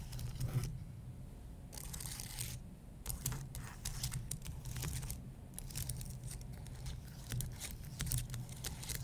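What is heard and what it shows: Fingertips and nails press and scratch the plastic keys of a white low-profile keyboard on an aluminum base, making quick typing-like taps. Bursts of bright, crinkly scratching come and go over a steady low hum around 120 Hz.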